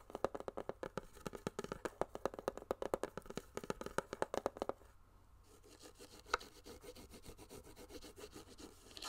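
A medium white-and-pink hollow hard plastic case or box, held in hand, is tapped with fingernails in a quick run of sharp, hollow clicks with a tone around 535 Hz for almost five seconds. The tapping then gives way to quieter fingertip rubbing and nail scratching across its surface, with one more distinct tap near the six-second mark.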